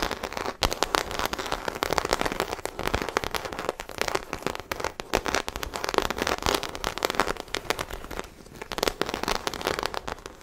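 Long acrylic nails scratch the embossed surface of a small black croc-textured faux leather shoulder bag, hollow and apparently empty, held close to the mic. The result is a dense, continuous crackle of rapid, sharp scratchy clicks with a bright, papery texture, lasting about ten seconds.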